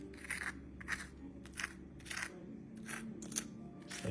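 Crispy skin on baked chicken thighs crunches in a series of short, dry crackling bursts spaced through the clip, over a faint low hum. The bright crunches confirm a crispy top layer of skin.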